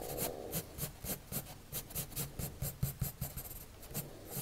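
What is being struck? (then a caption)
Coloured pencil on paper sheet. A blue colored pencil makes rapid, short scratching strokes on a white paper sheet resting on a table. Each stroke is a dry, raspy scrape with a bright, hissy edge over a soft low thump, repeating in a quick, uneven rhythm.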